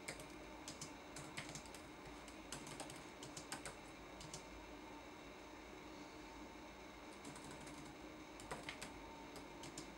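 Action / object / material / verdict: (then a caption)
tap / plastic laptop keyboard keys / plastic / none. Fingertips tap the plastic keys of a red-backlit laptop keyboard in a typing motion, making quiet, bright clicking taps in quick bursts. A pause falls in the middle, and a steady low hiss runs underneath throughout.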